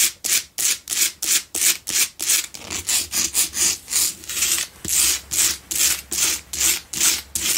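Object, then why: Himalayan salt block candle holder. Long nails scratch aggressively across the front face of a solid pink Himalayan salt double candle holder. Around 23 quick, bright, raspy strokes follow one another at roughly three per second in a slightly uneven rhythm, each a dry, hissy scrape that stops almost at once with no ring.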